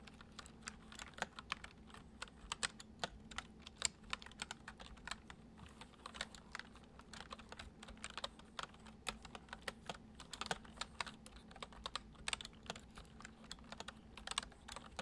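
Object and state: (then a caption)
Plastic computer keyboard being typed on. Both hands tap the keys of a white plastic computer keyboard with their fingertips, making a steady stream of quick, bright plastic clicks that stop short with almost no ring. The typing is soft and gentle over a faint low, constant hum.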